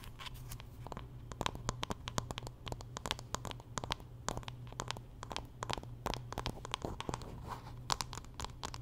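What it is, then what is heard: Wooden paddle hairbrush. Long nails scratch and tap the wooden back and handle of a solid wooden paddle hairbrush. There is a rapid, irregular stream of sharp, dry clicks and bright scratchy rasps over a steady low hum. Each tap dies away almost instantly.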